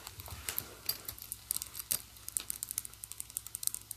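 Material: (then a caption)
Metal, fabric. Fingers with long nails slide the pull and rub the teeth of a silver metal-tooth zipper on a hollow black and pink fabric pouch. The result is a quiet, bright run of rapid ticking and crinkling clicks with very short decay and little low end.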